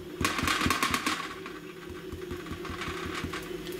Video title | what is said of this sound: לחם מחמצת שאור מקמח לבן | מקיש על התחתית שלו, אתם שומעים את הרעש החלול הזה? זה הסימן שהוא מוכן